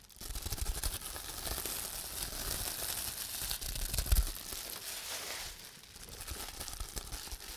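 A large clear plastic bubble wrap sheet is held close while fingertips press, rub and pop its air-filled bubbles and crinkle the sheet. A steady bright crackling rustle runs throughout over soft low thumps, with a sharper pop standing out near the middle before the handling eases slightly.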